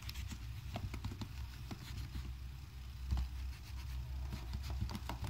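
A blue microfiber cloth held in the fingertips wipes a gold HP laptop with an aluminium deck and plastic keys, rubbing across the keys and pressing them lightly. Soft, scattered clicks and brushing taps sit over a steady low rumble, with short bright ticks that fade almost at once.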